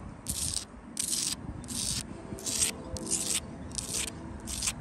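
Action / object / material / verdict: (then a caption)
scrape / rough-cut sandstone block wall / sandstone / none. Long light-blue acrylic nails scratch across the gritty face of a solid outdoor wall of rough-cut reddish sandstone blocks set in mortar. Seven bright, hissy scraping strokes come at a steady pace, each with a short, quick-fading rasp over a faint low rumble.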